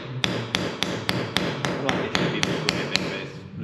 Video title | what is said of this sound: LET'S MAKE SOME CHANGES - What should we do next? | you can hear the different pitch between solid 6-in concrete and where it's only a few millimeters thick